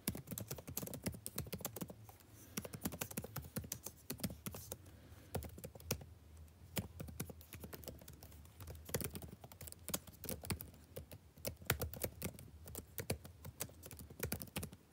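Fingertips type continuously on a backlit laptop keyboard with plastic keys, producing a steady stream of quick, light plastic taps and clicks. Each keystroke is short and dry with almost no ring, over a low hum that runs through the whole clip.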